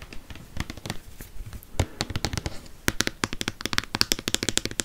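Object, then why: Plastic lotion bottle. Fingernails tap a tall white plastic Cien lotion or shampoo bottle, hollow and probably partly full, held in one hand close to the microphone. Around 26 short, dry, bright clicks with a soft low thump beneath them. They start sparse and irregular, then come faster and louder in the second half, with almost no ring after each tap.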